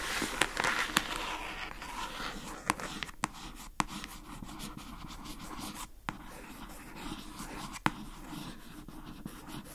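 Long acrylic nails scratch and tap the lid of a rectangular pink plastic food container with a paper label on top, lying on a rug. A steady, soft, bright scratching runs throughout, broken by several sharp, short tapping clicks.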